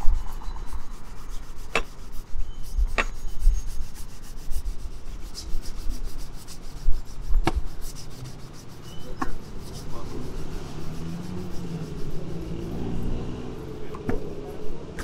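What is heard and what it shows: A grey cloth, pulled taut across the toe of a polished black leather dress shoe being worn on a foot, is buffed with both hands in rapid back-and-forth rubs. The result is a steady, low, rumbling swish with faint, brief, bright ticks scattered through it, heard in a street setting.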